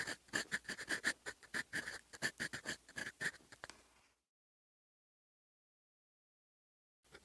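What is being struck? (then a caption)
Metal fountain pen nib on a paper notebook page. A metal fountain pen nib held in the fingers scratches across a lined paper notebook page lying flat on a solid desk, writing in black ink. A quick, uneven series of short, scratchy strokes with a bright hiss and a tight squeak runs for about four seconds, then falls silent before the strokes start again at the end.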